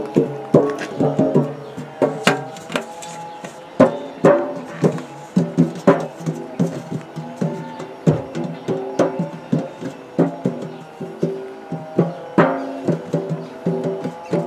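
Fingertips tap the side and lid of a large, round, hollow purple metal biscuit tin held in both hands. A steady run of quick, light taps gives off short, pitched metallic rings that shift between a few tones around the mid range, each fading within a fraction of a second.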